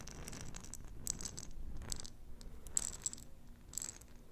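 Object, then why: Glass jar with metal lid holding plastic beads. Long nails tap and scratch a small, round, clear glass jar with a metal lid, filled with pink plastic beads. Soft, steady scratching runs under bright, sharp clicks and brief rattles of the beads shifting inside the glass.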